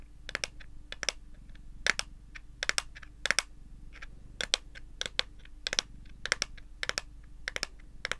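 A smartphone in a pale lilac plastic case is held in both hands while long green and pink nails tap and scratch its back and edges. Quick, bright clicks come in irregular bursts over a faint low steady hum, each click dying away almost at once.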